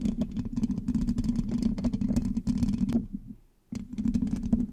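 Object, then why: Metal mesh microphone grille. Long acrylic nails on both hands scratch and tap the hollow black metal mesh grille of a large USB microphone. The result is a dense stream of quick, dry scratches and clicks over a steady low resonant hum. The sound fades into a short near-silence just after the three-second mark, then resumes at full intensity.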